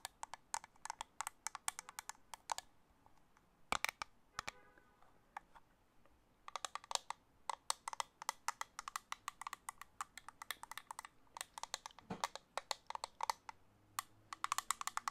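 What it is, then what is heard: Plastic makeup compact tapped with nails. A small, hollow black plastic makeup compact is held in one hand near the mic and tapped with long acrylic nails. Rapid bursts of dry, bright clicking taps cut off instantly with no ring, broken by short pauses before the tapping resumes.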